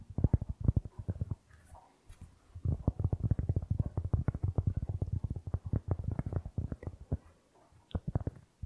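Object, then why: Round cork board. Fingertips tap and scratch the surface of a solid, round, flat cork board held in both hands in front of the microphone. Rapid, dull, low thuds with almost no ring come in fast bursts, broken by two short stretches of quieter scratching.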